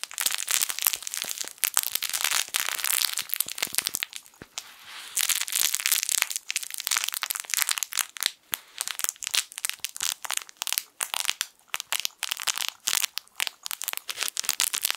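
A small yellow sun-shaped plush fabric crinkle toy is squeezed and scratched with fingertips. It makes dense, bright, crackling crinkles with almost no low end. The crinkling briefly softens around the four-to-five-second mark, then resumes in quick irregular bursts until the end.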